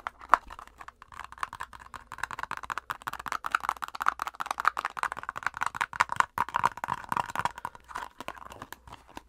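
A plastic face-mask squeeze tube is scratched and tapped quickly with long acrylic nails, making a dense run of dry, crinkly clicks and scrapes. The sound is short and sharp with no ring, centered in a midrange band around 1 kHz, and the rapid, uneven rhythm continues for the whole clip.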